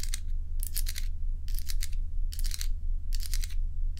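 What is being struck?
Ice cubes.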